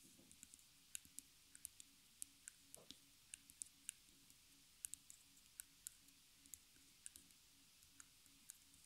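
Long fingernails tap and click on the wooden frame of a small stretched canvas, which is held in the hands by its back side with the hollow center and stapled edges. Around twenty quiet, sharp, bright clicks come at an uneven pace, each dying away instantly, over a faint low hum.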